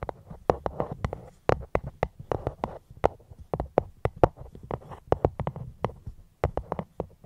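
Fingers tap a fruit box held close to the microphone, about thirty quick, soft taps in an uneven rhythm. Each tap is short and dry, with a hollow knock centred around 500 Hz and a low thump underneath, dying away almost instantly.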